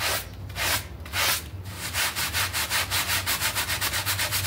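A small, filthy synthetic pile carpet mat, wet and foamy, is scrubbed with a red hand brush with dark bristles. A few slow, broad scrubbing strokes give way to quick, steady back-and-forth brushing, each stroke a bright, wet, hissing rasp.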